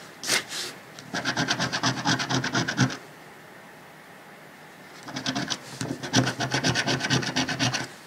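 A coin rubs the latex coating off a thin, flat paper lottery scratch-off ticket lying on a dark cloth, in quick repeated strokes. Two bursts of bright, raspy scratching, each about two seconds long, are separated by a short quiet pause.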